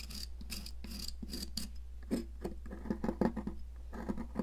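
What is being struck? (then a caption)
Stick of sidewalk chalk scraped by a metal palette knife. A metal palette knife scrapes a solid blue popsicle-shaped stick of sidewalk chalk, sending flakes and powder onto a plastic mat. Quick, bright, gritty scraping strokes come first, then sharper scratchy clicks and crumbling taps. A steady low hum runs underneath throughout.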